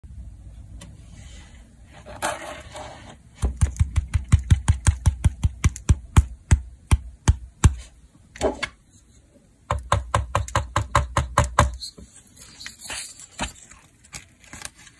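Fingertips tap the suede brown cap and dirt-covered red stem of a large, solid, whole fresh liver bolete mushroom held over white paper. Quick runs of soft, dull, low-pitched thumps come in bursts with brief pauses and a few faint rustles between them. Each tap dies away almost instantly.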